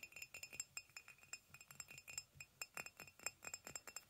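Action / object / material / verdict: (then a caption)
tap / ceramic mug / ceramic / none. A hollow white ceramic mug resting on a blanket is tapped on its side with fingernails. The result is a quick, irregular run of light, bright clinks with a high glassy ring that dies away almost at once.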